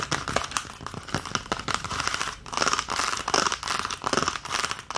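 An empty green plastic ice cube tray is held up while long nails rapidly tap and scratch its domed cavities. The result is a dense, continuous stream of bright plastic clicks and crinkly scraping. It comes in uneven bursts with little low end.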